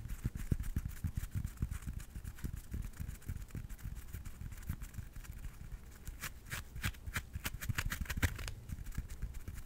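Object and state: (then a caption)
Tennis ball, scratched and tapped. A yellow tennis ball with a hollow rubber core and felt surface is held close to the microphone and scratched and tapped with fingers and nails. Soft, dull low thumps repeat throughout, joined later by sharper, brighter scratchy clicks from the nails on the felt.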